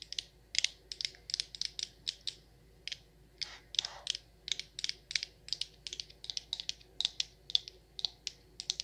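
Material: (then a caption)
Glass. Long acrylic nails tap and scratch the sides and frosted glass lid of a medium frosted glass jar candle filled with wax. Rapid, bright, clicky taps with very short ring come in irregular bursts, with a few softer scratchy brushes in between.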